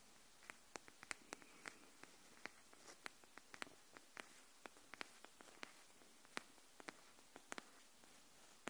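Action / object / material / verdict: tap / cardboard hardcover notebook edge / cardboard / none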